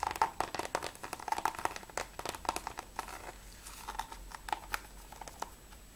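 Fingertips and nails tap quickly on the front cover and top edge of a closed, hollow plastic PS3 game case for Mirror's Edge. The result is a rapid run of short, dry clicks with a hollow, mid-pitched tone near 900 Hz and a bright edge, each dying away almost at once, over a faint crinkly background.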